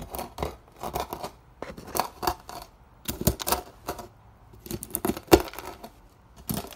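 A wooden block repeatedly presses down on a partly crushed pile of dry, brittle soap curls and flakes on a white surface, grinding them into fine pink crumbs. Each press gives a short burst of dry, bright crackling and crunching that stops almost at once. Quiet gaps fall between the bursts.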